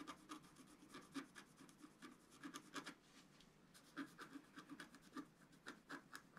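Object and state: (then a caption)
Scratch art paper being scratched. A wooden stylus scratches fill patterns near the bottom edge of a flat, black-coated scratch art paper sheet resting on a table. A quick series of short, dry, rasping strokes comes through quietly, with a brief lull near the middle before the strokes resume.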